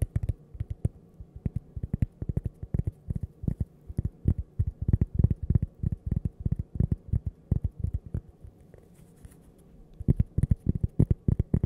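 Fingernails tap on cork coasters shaped like toasters, making soft, dull, low-pitched taps that die away almost instantly. The taps come in quick, irregular bursts, pause briefly near the end, then resume.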